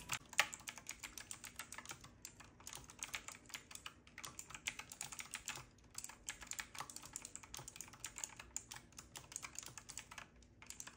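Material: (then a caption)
Plastic. Fingertips of both hands type rapidly on a retro typewriter-style mechanical keyboard with round plastic keycaps and a metal-looking frame. The result is a quick, steady stream of crisp, bright clicks and clacks that stop dead after each stroke, with brief pauses between bursts.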